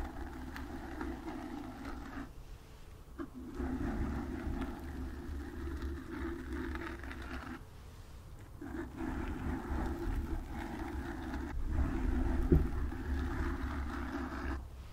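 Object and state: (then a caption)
Foam microphone windscreen being scratched. Long nails scratch the sides of a black foam windscreen on a microphone, producing a steady, muffled scratching rumble with deep low-end boom and a softer rasp in the mids. The scratching runs in long continuous strokes with brief pauses, growing slightly louder toward the end, with one sharper scrape near the twelve-and-a-half-second mark.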